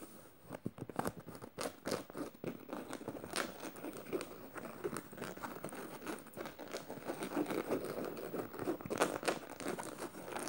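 Fingernails scratch rapidly over a black canvas tote bag covered in metal studs. The result is a quiet, continuous stream of dry, crinkly scratching, with irregular sharp clicks as the nails catch on the studs.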